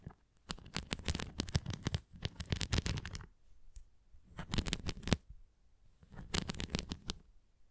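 Long nails scratch across the nubbed cross of a red plastic flying ring toy, making dry, crackly rasps with a soft low thump under them and bright hiss on top. The scratching comes in three bursts with short quiet gaps between them: a long run at the start, then two shorter ones.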